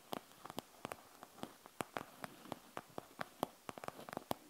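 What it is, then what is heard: Plastic gel bead eye mask. Long nails scratch the bead surface of a panda gel bead eye mask with a plastic shell and gel beads, producing about nineteen short, dry clicks and ticks over a faint hiss. The quiet, quickly decaying taps center around 730 Hz, with bright crackly edges reaching high.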